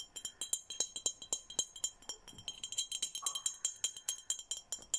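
An empty, handheld clear glass Hello Kitty bottle with a red plastic cap and straw is tapped rapidly with fingernails in an uneven rhythm. Each tap gives a quiet, bright glassy clink with a very short ring, almost entirely in the high range.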